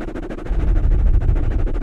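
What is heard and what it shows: Fingertips of both hands scratch and rub soft, porous black foam microphone covers, producing a dense, muffled crackling rustle with a deep low rumble. The rubbing grows louder and boomier about halfway through and continues steadily to the end.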